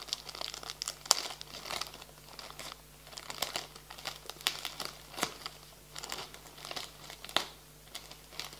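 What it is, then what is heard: Plastic-wrapped package. Fingertips and nails rub and crinkle the thin plastic film wrapping a flat package of a folded garden bag with a cardboard insert. Bright, dry crackles and rustles come in uneven bursts, with sharp snaps that cut off almost at once.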